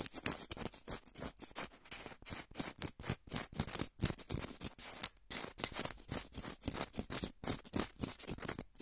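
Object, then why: Small foam blocks. Two small, solid, soft white foam blocks, one held in each hand close to the microphone, are squeezed and scratched with fingertips and nails. The result is a fast, irregular run of short, bright, scratchy crackling bursts separated by brief silences, with little low end.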